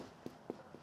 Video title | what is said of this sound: Claire Saffitz Makes Challah Bread - Dessert Person | Your bread is done when you tap the underside and it sounds hollow.